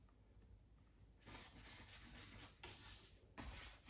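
A small flat bristle brush, held in the fingertips, dabs and rubs across a stretched cotton canvas on a wooden frame that sits on an easel. After a quiet first second, three bursts of dry, bright, broadband scratchy rubbing follow, each starting with a soft dab. A low rumble runs underneath throughout.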